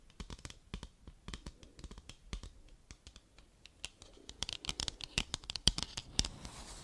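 Long, pointed dark red nails scratch and tap across the surface of a flat, hollow white cardboard product box with a printed label, held in both hands. The result is an irregular run of quick, dry, bright clicks and scratchy rasps with almost no ring, growing louder and busier toward the end.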